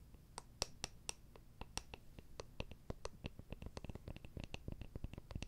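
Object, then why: Small round wooden jar with lid. A small, round, hollow wooden jar with a lid is tapped and scratched with long nails. Quick, dry clicking taps land in an irregular stream, each with a bright tick over a low, hollow thump. Faint scratching fills the quiet gaps between them.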